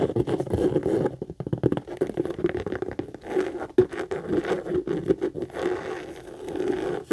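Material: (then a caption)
Leather. Long acrylic nails fast-tap and scratch the front and side panels of a hollow, medium brown pebbled-leather Michael Kors tote. The result is a dense, continuous patter of dry, scratchy taps and scrapes centered in the low mids, with short sharper clicks standing out now and then and almost no bright top end.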